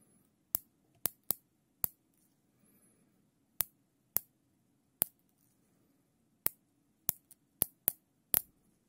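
Gloved fingers pull the tail of a black nylon zip tie loop through its ratchet head, producing a series of sharp, bright, separate clicks spaced irregularly over the clip. Each click is very short with almost no ring, over a faint low background hum.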